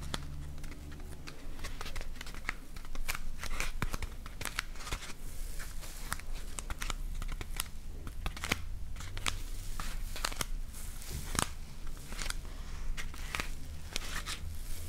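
Long painted nails scratch and tap a solid, hand-sized block of white layered polyethylene packing foam. The result is a dense run of short, dry, bright clicks and crinkly scratches that stop almost instantly, over a steady low hum.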